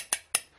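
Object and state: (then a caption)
Metal faucet, not plastic. A wedding ring taps twice on the metal high-rise kitchen faucet of a 2019 Forest River Wolf Pack 23Pack15 toy hauler travel trailer. Two short, bright metallic clinks ring high with very little low end. The faucet is metal, not plastic, showing the trailer uses better fixtures.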